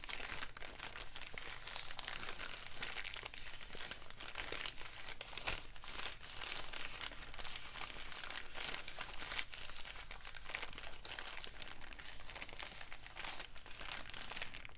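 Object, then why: Kraft paper bag. An empty brown kraft paper bag, held close, is crinkled and crumpled in both hands. The result is a continuous, dense crackle of bright, papery rustling with frequent sharper crunches and a steady low rumble underneath, at a soft level throughout.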